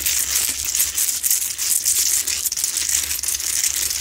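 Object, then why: Salt rock lamp. Long nails scratch aggressively along the rough sides of a medium, solid Himalayan salt rock lamp that is lit. The result is a steady, dense, bright, high-pitched gritty scratching and crackling with almost no low end and quick fluctuations in loudness.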